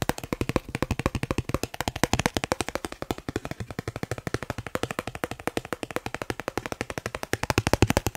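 A thin, solid dark blue plastic Snipes store card is held close and tapped rapidly with the fingertips. The result is a steady stream of about 87 short, dry clicks with a low thump and a bright edge, each dying away almost instantly.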